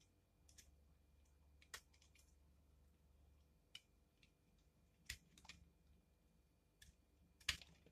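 A utility knife blade shaves curls from the flat face and corner of a solid pink soap bar held in the hand. Seven short, crisp, bright scrapes sound at irregular intervals over a quiet, low background hum, each fading almost at once.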